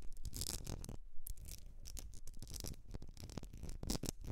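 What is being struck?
Etched glass candle jar filled with wax.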